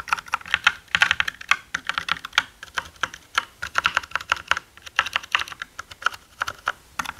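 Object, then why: Plastic mechanical keyboard. Both hands type with their fingertips on a black mechanical gaming keyboard with plastic keycaps, producing about 40 quick, uneven keystrokes over roughly seven seconds. Each key press is a short, dry, bright clack centered around 1.4 kHz, with almost no low end and no ring after each hit.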